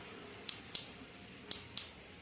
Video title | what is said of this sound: TEMA 2 SUBTEMA 1 SBDP | dia akan menghasilkan bunyi tek-tek